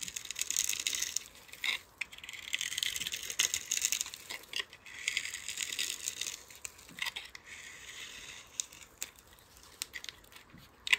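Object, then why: Bar of soap scraped with a metal blade. A palm-sized solid pale-green soap bar, pre-scored into cubes and held in the hand, is scraped with a metal utility-knife blade, and the cubes crumble off. The sound is a dry, bright, crinkly scraping in long bursts, broken by sharp short crackles and clicks as pieces break away, with almost no low end.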